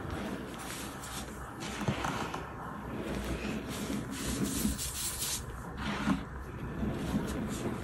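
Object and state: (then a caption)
Packed baking soda clump being crushed. A soft, solid clump of packed white baking soda powder sitting on a bed of loose powder is squeezed, rubbed and crushed between bare fingers and palms. The result is a continuous, grainy rubbing and crumbling texture with low rustle and occasional brighter crunchy bursts, and no distinct separate hits.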